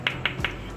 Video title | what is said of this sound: How to Store Tomatoes for Long Time - Best Way to Store Tomatoes for Months - Kitchen Tips 2020 | इसकी आवाज से पता चलता होगा